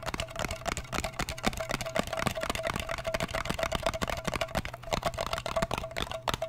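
Fingertips and nails rapidly tap and scratch the lid of a small, round, blue metal Nivea cream tin, which is closed and apparently full. Dense, dry clicks and scratchy brushing come in quick succession and die away almost instantly, over a faint steady tone and a low hum.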